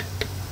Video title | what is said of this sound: Unlisted - Survival Weekend - Food Preservation | This is the difference between an unsealed jar sound. You hear that, it's a dull thud. This is nice and tight.